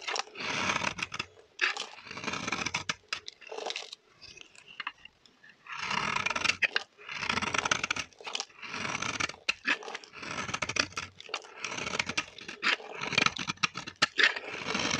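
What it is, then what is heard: Dry bar soap scraped with a blade. A metal blade scrapes crumbly shavings off a solid, dry pink bar of vintage soap held in the hand. Repeated strokes make dry, crunchy, bright scraping and crumbling, separated by brief quiet gaps.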